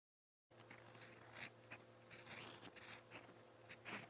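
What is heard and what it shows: A gold-toned metal fountain pen nib scratches across a lined white page of a spiral notebook while writing purple Korean letters. After a brief silence, quiet, bright scratchy strokes come in short bursts over a faint steady low hum.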